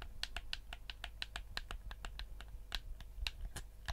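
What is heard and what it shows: Fingertips tap the shell and click the buttons of a black, hand-sized, hollow PS4-style plastic gamepad. Quick, dry, bright clicks and taps come at an uneven pace, each dying away almost instantly. A steady low rumble sits underneath.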